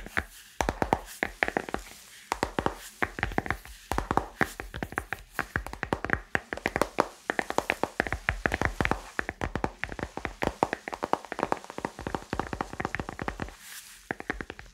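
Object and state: Smartphone in plastic case.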